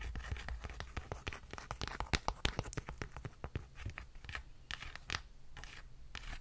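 Long nails tap on the cover of a paperback book, then scratch along its page edges and spine. Quick, dry ticks give way to crisp papery rasps and scrapes, close and steady over a faint low rumble.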